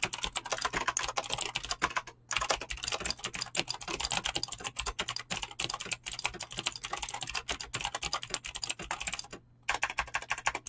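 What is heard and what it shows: A full-size mechanical keyboard with Razer clicky green switches and dyed PBT plastic keycaps, resting on a desk, is typed fast with fingertips and short nails. Continuous bright, sharp clicks run almost nonstop, with brief pauses around 2 and 9.5 seconds, over a faint steady low hum.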